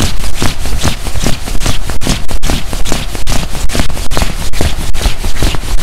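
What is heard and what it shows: Both hands grip, scrunch and rub the padded chest fabric beside the zipper of a black quilted nylon puffer jacket being worn. The result is a loud, continuous swishing and crinkling, heavy in low rumble, that swells in loose, uneven pulses a little faster than two per second.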